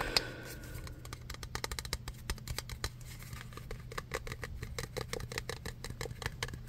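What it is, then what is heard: Metal aerosol spray can. Fingertips quickly tap the body of a hand-sized red metal aerosol spray can with a black cap. The result is a rapid run of short, bright, clicky ticks with almost no ring, over a steady low hum.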